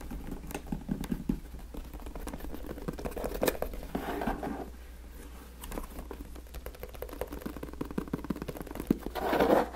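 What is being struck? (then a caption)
Corrugated cardboard box. Fingertips and nails tap and scratch the top and sides of a medium-sized, hollow, taped FedEx corrugated cardboard shipping box resting on a black surface. Dense, rapid, dry tapping and scratching patters on without pause, with a steady low hum underneath and a brighter scrape near the end.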